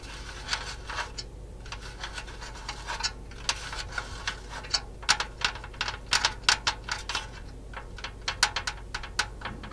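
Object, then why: Painted metal figurine. Long nails tap and scratch the metal robe of a painted metal cat figurine held close. The result is a steady run of sharp, bright clicks over a faint, low, even hiss, with scratchy rubs between the taps.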